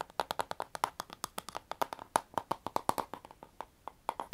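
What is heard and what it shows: Long painted nails and fingertips tap and scratch the back and bristles of a handheld pink plastic paddle hairbrush with a hollow plastic body and a black cushion pad. About 29 quick, dry clicks come in an uneven rhythm, each with a hollow plastic tone around 900 Hz and a bright crisp edge. Faint scratchy rustling fills the gaps, and the taps stop at once with no ring.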